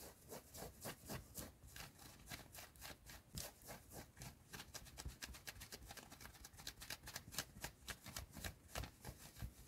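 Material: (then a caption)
Cotton fleece. Long nails scratch fast across the chest of a worn yellow fleece cotton hoodie in a car. The result is a rapid, uneven run of short, bright, raspy strokes over a low, steady rumble.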